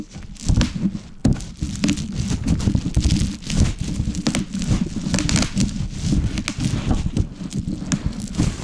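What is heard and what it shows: A large sheet of plastic bubble wrap with hollow air cells lies on a wooden board and is rolled over and crushed with a wooden rolling pin held in both hands. The result is a steady, dense stream of sharp crackling pops as the bubbles burst, over a heavy low rolling rumble.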